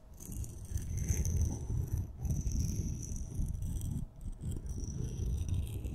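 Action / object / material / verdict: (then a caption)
scrape / two glitter-coated wooden pencils / wood / none. Two glitter-coated solid wooden pencils, one purple and one red, are held horizontally in both hands and rubbed and scraped against each other. The result is a steady, rattly, low scraping rumble with a faint bright hiss on top. It dips briefly near the four-second mark before continuing.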